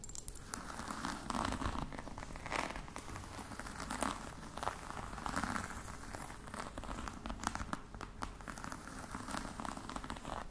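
Long nails tap and scratch the top edge of a flat, rectangular, hollow box covered in glossy croc-embossed faux leather with metal studs. The result is a steady, dense run of crinkly scratching and soft, dry taps that die away instantly, over a low rumbling background.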